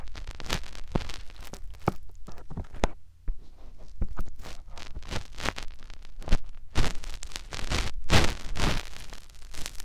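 Fingertips and short nails rub, press into and scratch the hollow canal and rim of a white soft silicone ear on a white plastic binaural microphone body. The result is a dense run of close, muffled scratching and rubbing, heavy in low rumble, with sharp brief crackles and a short quieter gap near the three-second mark.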